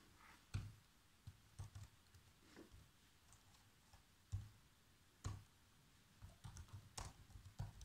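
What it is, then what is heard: Plastic laptop keyboard. Fingertips with short nails type fast across the black plastic chiclet keys of a laptop keyboard, giving quiet, soft taps with a low thump and brief bright click edges. About a dozen separate keystrokes stand out over a low background hush, with irregular gaps between them.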